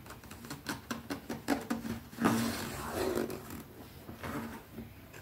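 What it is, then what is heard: Leather zip pouch. Long nails quickly tap and scratch along the edge and side of a small, closed black grained-leather zip pouch held in one hand. The taps are dry and irregular, with a muted low-mid knock and scratchy rustle between them. A louder, longer scrape comes midway before the tapping settles softer.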